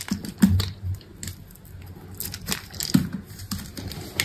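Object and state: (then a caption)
Bar of soap being carved. A solid white bar of soap, held in the hand, has its corner shaved and carved with a utility knife blade. Soft, crisp scraping and clicking strokes come in short, uneven bursts, with a few duller low thumps among them. Each stroke stops quickly.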